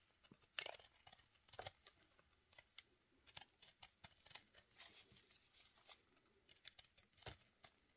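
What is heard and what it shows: A steel knife blade held in a black-gloved hand scrapes and shaves a small, solid pink soap cube with a powdery surface. About twenty quiet, dry scratches sound in quick succession, bright and crisp with almost no low end, each stopping at once with no ring.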